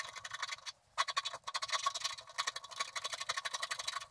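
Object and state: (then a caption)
Scratch-art paper being scratched. A wooden stylus scratches the lower area of a coated scratch-art card with short, rapid strokes, making a dense run of dry, bright scraping ticks. There is a brief pause before the scratching resumes.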